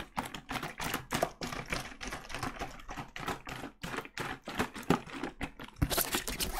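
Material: Plastic.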